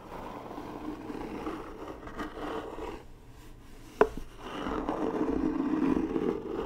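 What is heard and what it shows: Long nails and fingertips tap and scratch the top and sides of a hollow, medium-sized white rigid cardboard gift box with gold Dior lettering, held close to the microphone. A dry, mid-range scratching and rubbing runs steadily, dips quieter for a moment, breaks with one sharp tap, then returns as louder, fuller scraping.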